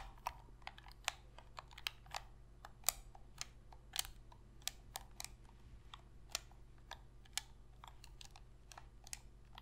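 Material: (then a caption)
Plastic. Long pink fingernails press and tap the sticks and buttons of a hollow black plastic Sony PS3 controller held in both hands. About twenty sharp, bright clicks and taps sound at an irregular pace, each dying away at once, over a faint, steady low hum.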